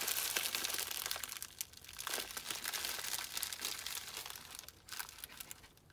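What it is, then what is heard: Plastic bubble mailer being crinkled. Fingertips rub, press and crinkle the plastic film of a small white poly bubble mailer with a label, holding a small item. A quiet, bright, dense crinkling runs throughout in irregular bursts with little low end, easing off and growing softer toward the end.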